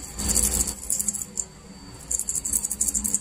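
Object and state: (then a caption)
Broken refrigerator start relay, loose fragments rattling inside. A broken refrigerator compressor start relay is shaken by hand, and the crumbled material inside makes a bright, gritty rattle like sand. The rattling comes in quick bursts, goes quiet for a moment in the middle, then starts again. That sandy sound is a way to tell the relay is broken.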